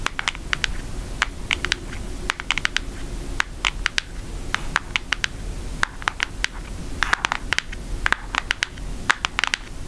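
A flat, thin brown cardboard Hershey's eyeshadow palette is held up and tapped rapidly with long acrylic nail tips. The taps make a steady run of short, dry, bright clicks that sound like typing, with no ring after each tap, over a faint low background hum.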